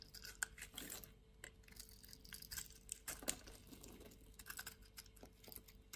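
A solid white-and-pink bar of soap, held in the hand, has its surface scraped and shaved with a metal box-cutter blade. Quiet, irregular bursts of crisp, crackly scraping with bright, gritty texture come and go over a faint, steady low hum.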